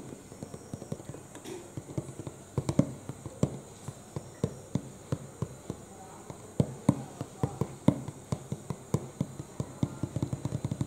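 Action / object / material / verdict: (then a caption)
tap / cardboard box / cardboard / none. Fingertips and short nails tap rapidly on the front panel of a medium-size, hollow printed cardboard retail box for a UPS power supply, held upright against the chest with its contents unknown. About 29 short, dull, low taps land in irregular bursts, each dying away almost instantly with little brightness.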